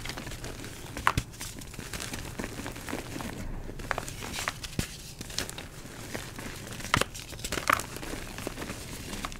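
Purple-dyed gym chalk (magnesium carbonate) chunks and powder in a bowl are broken apart by fingers, then the powder is rubbed and crumbled with both hands. A steady dry crinkling crumble runs throughout, with many short, sharp snaps and crackles standing out, the loudest near 1, 7 and 7.7 seconds.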